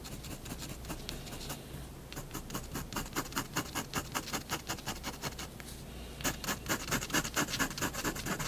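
A fineliner tip scratches short, repeated hatching strokes onto white drawing paper resting on a wooden desk, drawing a cat's fur stripes. The bright, dry scratches come in a quick, uneven rhythm over a faint low hum, grow more distinct after a softer opening, and turn louder and denser near the end.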